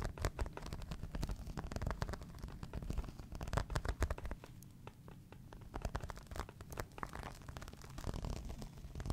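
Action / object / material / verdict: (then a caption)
scrape / embossed faux leather clutch bag / faux leather / none. A medium-sized green crocodile-embossed faux leather clutch, apparently empty, is held up while fingernails and fingertips scratch across its textured surface. Dense, rapid scratching clicks and rubbing sit mostly low and muffled. The scratching eases briefly in the middle, then picks back up.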